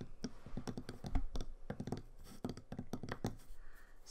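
A flat, solid, unpainted pine snowflake-shaped Christmas ornament, palm-sized and lying on a sketchbook page, is tapped with painted fingernails and fingertips. A fast, irregular run of short, dull, low knocks mixes with light clicky tips. Each tap dies away almost instantly with no ring.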